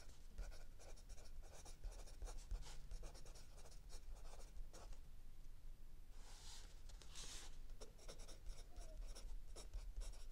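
A mechanical pencil tip scratches across a lined paper page of a spiral notebook lying flat on a wooden table, with the other hand resting on an open paperback. Quiet, dry, bright scratching strokes come in quick bursts over a low steady hum, easing briefly around the middle before two longer, brighter strokes and more rapid scribbling.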